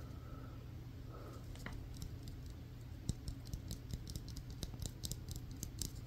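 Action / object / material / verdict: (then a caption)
tap / synthetic leather softball / synthetic leather / none. A solid yellow stitched banana ball, a synthetic leather softball, is held in both hands and tapped and scratched with fingernails. Soft scratching over a low steady hum gives way to quick, sharp, bright taps that come faster and denser through the second half. Each tap is dry and dies away almost instantly.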